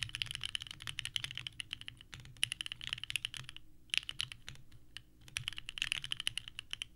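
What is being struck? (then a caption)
Mechanical keyboard with plastic ABS keycaps. Both hands type continuously with the fingertips on a small 65% mechanical keyboard with a purple case and white ABS keycaps, resting on a desk mat. The rapid, clacky key presses are bright and sharp, centered around 2.8 kHz, with very short decays and a faint low thump beneath. The typing eases briefly near the two- and five-second marks before picking back up.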